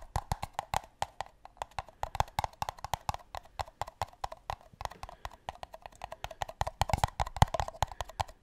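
Two empty, hollow paper cups are tapped with the fingertips close to the mic in a fast, uneven rhythm. Each tap is a short, dry, hollow knock with a mid-range body, a soft low thump and almost no ring, giving a woodblock-like clip-clop patter throughout.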